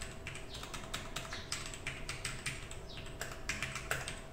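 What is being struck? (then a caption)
Mechanical keyboard with plastic keycaps. Quick fingertip typing on a compact 60% mechanical keyboard with a black case and mostly white plastic keycaps with a few coloured accent keys, resting on a desk mat beside some loose keycaps. Keystrokes come fast and clustered, giving bright plastic clicks and taps that overlap into a continuous clatter over a low, steady background hum.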